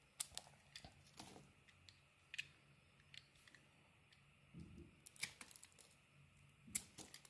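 A metal blade carves slices off the edges of a palm-sized solid pink and orange bar of soap held in the hand. The result is a quiet series of short, crisp, bright scraping snaps with almost no ring, heard over a faint low hum.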